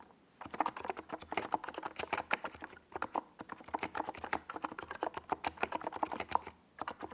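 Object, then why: Plastic mechanical keyboard. Fingertips type continuously on a small 68-key NiZ Plum Atom 68 mechanical keyboard with a white plastic case and purple and yellow Domikey Gas Attack plastic SA keycaps, resting on a desk pad. Rapid, dry plastic clacks come in bursts, each dying away almost instantly, with a mid-pitched tone and brief pauses near three seconds and near the end.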